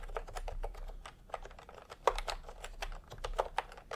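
Fingertips of both hands tap steadily on a full-size retro keyboard with a peach plastic case and round typewriter-style plastic keycaps. The rapid run of short, crisp plastic clicks centers in the midrange with faint bright edges. A few strokes land noticeably harder than the rest, over a low background hum.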